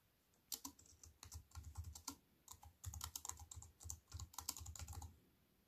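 Fingertips with white-painted nails type fast on a slim wireless keyboard with black plastic keys in a grey metal-look frame, lying on a wooden table. Quick, bright key clicks with soft low thumps come in uneven bursts and die away almost at once.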